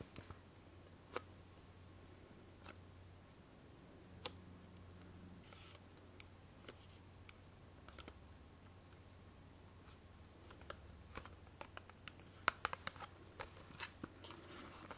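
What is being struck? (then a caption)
Small cardboard cosmetic box. Long manicured nails tap a small, hollow green-and-white cardboard box of organic face oil held up in both hands. About two dozen sharp, dry clicks and ticks come quietly and unevenly, bunching together toward the end. A faint low hum runs underneath.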